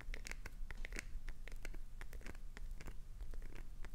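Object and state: Glycerin soap bar scratched.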